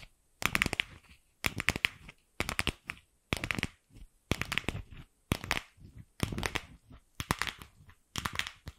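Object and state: Hollow plastic ball.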